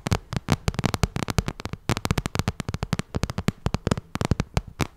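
Long red nails tap rapidly on the glossy surface of a small, hollow pink vinyl cosmetic bag. About thirty quick, dry taps each give a soft low thump with a bright clicky edge. The taps are uneven and close together, and each dies away almost at once.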